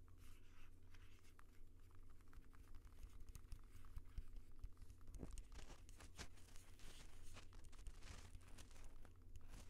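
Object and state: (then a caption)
Plastic handheld audio recorder, tapped and rubbed. A handheld Tascam audio recorder with a hard plastic body and metal mic capsules is held upright while fingertips of both hands tap and rub directly on its top and sides. The result is a dense stream of quick, crinkly taps and scratchy rubs with bright crackle over a steady low hum.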